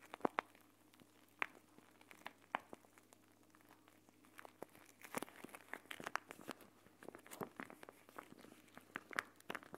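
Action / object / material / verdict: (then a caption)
scrape / plastic pouch of gel beads / plastic / none. A clear plastic gel bead eye mask, a pouch filled with green gel beads, is held in both hands and squeezed and scrunched. The plastic gives quiet, sharp crinkles and crunchy crackles in irregular bursts that thicken in the second half, over a faint steady low hum.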